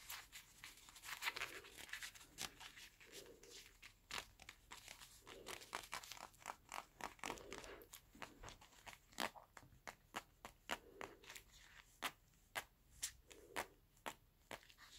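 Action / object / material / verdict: scrape / leather gloves / leather / none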